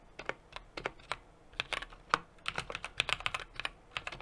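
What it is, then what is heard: Mechanical keyboard, typing. Steady fingertip typing with both hands on a 60% mechanical keyboard with an aluminum case, brass plate and plastic keycaps. An uneven run of short, crisp clacks fires off in quick succession. Each one is bright, with very little low end, and dies away almost instantly.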